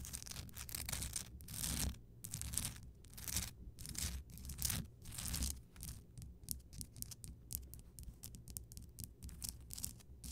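Fingertips and long nails scratch and tap around the base and sides of a large, solid, lit Himalayan rock salt crystal lamp. Long, bright, gritty scratching sweeps come first, then give way to quicker, crisp taps and short scrapes in the second half, all over a steady low rumble.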